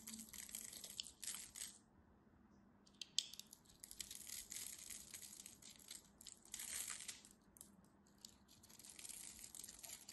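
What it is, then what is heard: Dry bar soap being carved. A solid, textured, cream-colored soap bar is carved with a metal craft knife, producing dry, crumbly shavings. The sound is quiet, crisp scraping and crunching, mostly high and bright, in irregular bursts with brief pauses between them.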